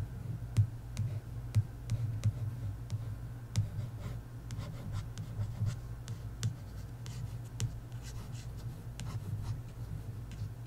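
A single long nail scratches and traces along the lower part of the glossy card cover of an "Inheritance Games" paperback book. The result is a soft, continuous scratchy rubbing with a low hum beneath it, broken by brief sharp clicks.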